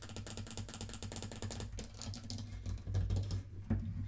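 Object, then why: Small wooden mantel clock case. Long nails rapidly tap and scratch the wooden sides of a small hollow wooden mantel clock, making a dense run of quick, clicky taps over a low, boomy resonance. The clock is then lifted, and its base and feet are tapped, giving a few heavier, deeper knocks near the end.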